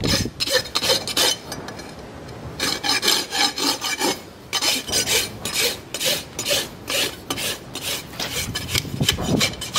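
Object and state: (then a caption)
Horse hoof being rasped. A steel rasp is drawn by hand across the keratin horn wall of a live horse's hoof, which is fitted with a steel shoe and resting on a hoof stand. Quick, repeated filing strokes make a bright, gritty scraping centered around 3 kHz, with short pauses between bursts and little low end.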